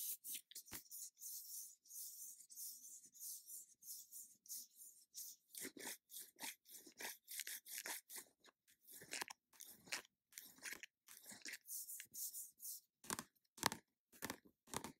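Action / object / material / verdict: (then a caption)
scrape / plastic squeeze tube / plastic / none. Long nails rub, scratch and tap the surface of an orange plastic squeeze tube of cream mask. The result is a quiet run of dry, bright crinkly scrapes and crisp clicking taps. The sounds come in short, separated bursts with almost no ring or low end.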